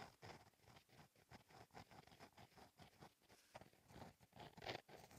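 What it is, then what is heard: Pen writing on a notebook page. A gel pen with a metal and plastic tip, held by the fingertips, writes cursive letters in steady strokes across a flat, black, lined notebook page. Quiet, dry, scratchy strokes come in a quick, uneven rhythm, with a mid-range tone around 660 Hz and a faint bright hiss. Each stroke stops short with almost no ring.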